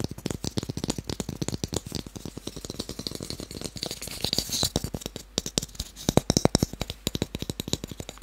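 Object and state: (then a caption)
Small wooden cube tapped. A small, solid, pale wooden cube held in one hand is tapped rapidly on its faces with fingertips and short nails. About sixty quick, dry taps sound in a steady, uneven patter, each a short click with a soft low knock that dies away almost at once.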